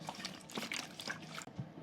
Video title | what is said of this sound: Vintage Craft: Milkweed Bird Ornaments & A WW2 Connection! | there's water in here can you hear it